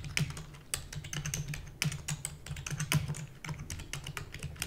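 Rapid typing with fingertips and long natural nails on a full-size black plastic computer keyboard with plastic keys and a hollow housing. Quick, overlapping taps give a steady stream of short clacks with a hollow low thump near 156 Hz and bright clicky tops. Each stroke dies away almost at once.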